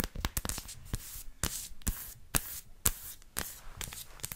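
Long nails tap the edge of a solid dark chocolate bar and scratch its dotted front face as the bar, smooth on the back, is flipped over in the hands. Sharp, bright clicking taps stand out over a soft, continuous scratchy rasp and faint handling rustle.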